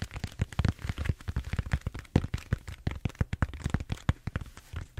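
Fingertips and nails scratch and tap the surface of a large purple bead-foam styrofoam foam roller held horizontally close by. The result is a rapid, irregular stream of short, dry crackling taps with a soft, bassy thump to each, and almost no ring.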